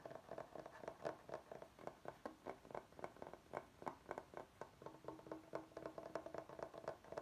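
Fingertips and short nails tap and scratch the face of a large, flat, solid bamboo chopping board held upright. The result is a quiet, steady stream of rapid, dry knocks with a woody mid-range tone around 900 Hz and almost no ring, with soft scratchy rubs between the taps.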